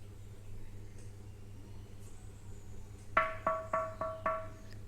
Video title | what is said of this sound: नवीन माठ कोणता घ्यावा? नवीन माठ कसा साफ करावा? पाणी थंड कसे राहिल? या सर्व गोष्टींची माहिती #claypot | अगदी खणखणीत आवाज आला की समजायचं माठ भट्टी मध्ये अगदी छान असा भाजलेला आहे